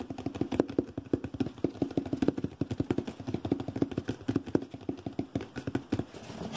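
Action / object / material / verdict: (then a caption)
tap / cardboard box / cardboard / none. A hollow, medium brown cardboard shoe-type box is held close and tapped and scratched rapidly and forcefully with fingertips and nails. The result is a fast, uneven stream of short, dry knocks with a hollow, boxy resonance around 300 Hz, mixed with faint scratchy rustling.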